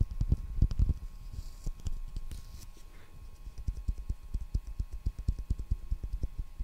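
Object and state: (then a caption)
Roll of clear plastic packing tape. A roll of clear plastic packing tape, a hollow ring on a cardboard core, is held just above the microphone in both hands and tapped with the fingertips on its outer wound surface. Quick, soft, deep thuds with very short decay come in an irregular stream, louder and denser at the start, easing off, then picking back up.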